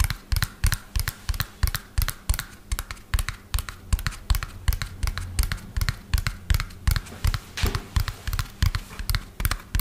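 Fingernails tap fast on the underside and wheels of a hollow lime-green plastic toy dump truck held upside down. The taps come as a quick, slightly uneven stream of sharp, bright clicks over a low hollow thump, each dying away almost at once. They go on steadily through the whole clip.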